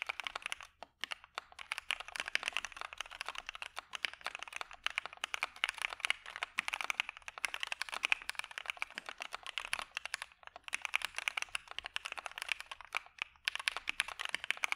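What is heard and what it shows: Both hands type steadily with their fingertips on a dark mechanical keyboard with white PBT keycaps, producing a fast, continuous stream of short, crisp clicks. The keypresses are bright with little low end and stop almost instantly, with brief pauses between bursts of typing.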